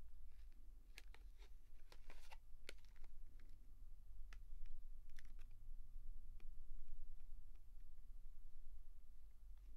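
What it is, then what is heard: Plastic blister pack of chalk. A small clear plastic blister pack on a cardboard backing, holding six coloured chalk sticks, is held in both hands and handled and squeezed with the fingertips, nails touching the plastic. Short, sharp, bright clicks and crackles come in scattered bursts, denser near the start, over a steady low hum. Each click dies away almost instantly, leaving only the quiet background.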